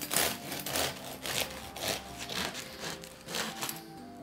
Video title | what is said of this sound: 5 Felder Brot - gesundes Körnerbrot selber backen | man hört dass wieder schön knusprige kruste